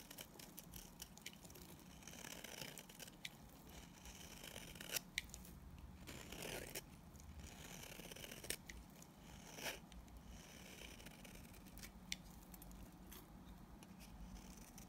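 A solid, white, speckled, opaque bar of soap is held in the hand and scraped with a utility knife blade, shaving it into crumbly powder. The sound is a steady run of dry, bright, scratchy crunching strokes with occasional sharper clicks, over a faint low hum.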